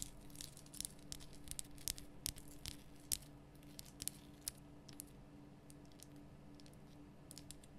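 Long nails tap and click on the rough, solid salt surface of a large, lit pink Himalayan rock salt lamp. The result is a run of sharp, bright clicks at an uneven pace, with quick scratchy crackles between them. A steady low hum sits underneath.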